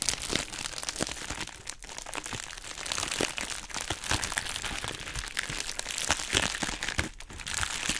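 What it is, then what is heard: Plastic bubble wrap mailer being crinkled and scratched. Long nails scratch and press the bubbles of a hollow, pink, heart-shaped plastic bubble wrap mailer bag while hands crinkle it. The result is a steady, bright crinkling texture scattered with sharp little crackles and pops, mostly high-pitched with little low end.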